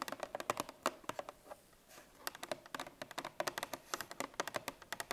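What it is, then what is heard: Paperboard milk carton tapped with fingernails. Long painted fingernails of both hands tap a 1 L Parmalat milk carton, a paperboard-laminate carton that is likely full, resting on a wooden table. About thirty quick, dry, clicky taps come in irregular bursts with a brief pause near the middle. Each tap has a hollow mid-range knock around 600 Hz and a bright tick, and dies away almost at once.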